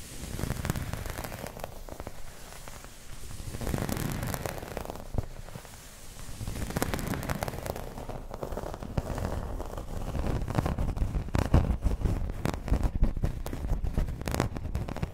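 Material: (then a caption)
Plastic. Long pointed red nails scratch the embossed surface of a round, dark green textured plastic placemat resting on a table. The result is a continuous, irregular crackling and rasping with dense clicky scrapes, heavy in the low end, swelling and fading in waves and growing busier and sharper toward the end.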